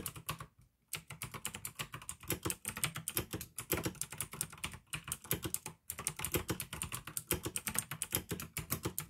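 Fingertips type continuously on a pink AUKEY plastic mechanical gaming keyboard with blue switches, producing rapid, sharp, bright clicks with a low thock under each keystroke. The typing runs in steady bursts, with brief pauses near the start and just before the six-second mark.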